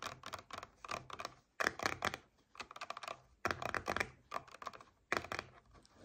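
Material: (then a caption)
Paperboard. Long nails tap and scratch on a paperboard coconut water carton lying on its side. Quick clusters of dry, clicky taps come in short bursts separated by brief pauses, with a crisp scratchy texture. The sound is thin and bright with almost no low end, and each tap dies away instantly.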